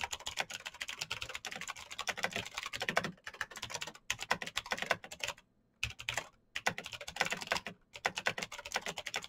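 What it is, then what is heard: Plastic mechanical keyboard. Fingertips type fast on a black plastic mechanical keyboard with clicky green switches, giving a dense run of sharp, bright clicks with very short decay. The typing pauses briefly around 5.5 and 6.3 seconds before resuming at the same quick pace.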